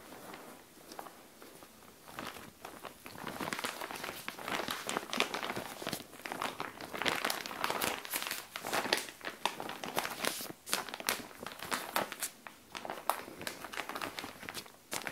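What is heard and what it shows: A flat frosted SHEIN plastic clothing bag with a dark folded garment inside lies on a tile floor while long nails of both hands scratch and rub its surface. The result is continuous bright crinkling and crackling with quick scratchy strokes, rising from quiet to busier and louder rustling.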